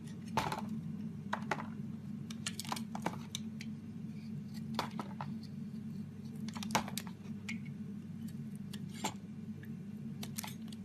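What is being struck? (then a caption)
Bar of soap scraped with a knife blade. A solid, palm-sized green bar of soap held in one hand is carved by scraping and shaving it with a utility-knife blade, peeling off curls of soap. Short, crisp scraping and cutting ticks sound irregularly over a steady low hum, with a few sharper bright snaps standing out.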